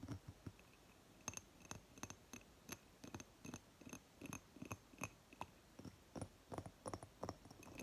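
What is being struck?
Glass candle jar.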